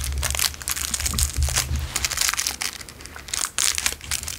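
An empty, small, narrow clear cellophane wrapper is crinkled and rolled between fingertips. This makes a steady run of bright, dry crackles and crisp snaps that bunch into louder bursts and briefly dip. A low hum sits underneath through the first half.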